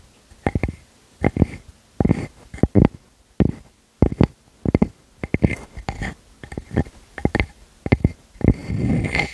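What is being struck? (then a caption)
Round wooden slice scratched with fingernails. Long fingernails scratch the flat surface of a solid round wood slice with tree rings, held against a furry windscreen. The scratching comes in short, muffled, low-heavy bursts separated by brief pauses, ending in a longer continuous scrape.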